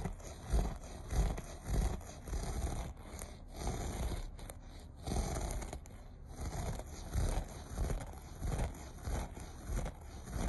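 Short nails scratch the pile of a beige looped carpet in quick, uneven strokes, each one a dull, low, rumbling rasp with a faint bright hiss on top. The scratching swells and fades in a loose rhythm of about one to two strokes per second across the clip.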